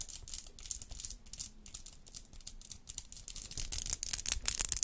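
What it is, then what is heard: Acrylic nails clicking together. Long square acrylic nails decorated with rhinestones and gems are tapped and clicked against each other, nail on nail, in front of a microphone. The result is a rapid, irregular stream of short, bright clicks with a soft low rumble underneath, growing louder and denser toward the end.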